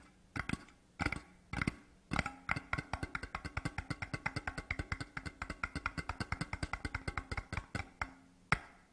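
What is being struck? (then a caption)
Large cardboard tube lying on its side. A large, empty, hollow printed cardboard Deveron whisky tube lies on its side on a cloth and is tapped fast with the fingertips of both hands. A few spaced taps lead into a rapid, steady run of about fifty dull, hollow thuds with a low resonant pitch and almost no ring, ending on a single tap.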